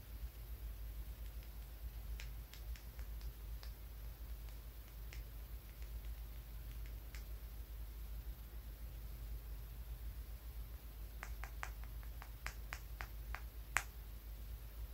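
A small, solid blue-grey polished stone is held in the fingers and tapped and scratched with fingertips and nails. Faint, sharp clicks and ticks come in scattered clusters, with a louder click near the end, over a steady low hum.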